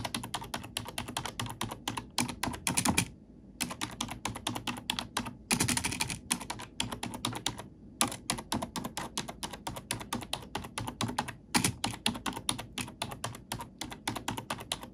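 An index fingertip with a long nail taps and types on the black plastic keycaps of a computer keyboard, heard close up. Rapid, bright plastic clicks and clacks run in dense bursts throughout, with short pauses near 3 and 8 seconds and a few louder flurries of fast typing.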